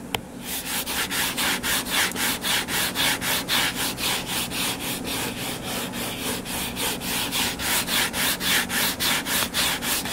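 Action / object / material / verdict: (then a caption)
scrape / hardcover paper book / cardboard / none. Fingertips with short nails scratch and rub back and forth across the blue cover of a closed hardcover book lying flat. The result is a steady, rapid series of dry, bright scratching strokes, about three or four per second.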